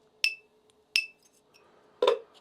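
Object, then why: 3D-printed carbon-fibre PPS turbine wheel. A 3D-printed PPS carbon fiber (PPS-CF) turbine wheel is flicked three times, giving bright, metallic-sounding ringing tones near 2.7 kHz on the first two flicks, and a broader, lower clink on the third. Each ring decays quickly, and the wheel is sounded to compare its ring against a PETG print.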